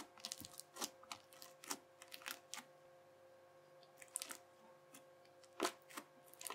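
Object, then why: Crunchy bubbly slime cut with a plastic knife. The edge of a yellow plastic knife presses quickly and repeatedly into a sheet of teal, bubbly, crunchy slime, chopping lines into it. Each press gives a short, sharp, bright crackle of popping bubbles, spaced unevenly with quiet gaps between bursts, over a faint steady mid-pitched hum.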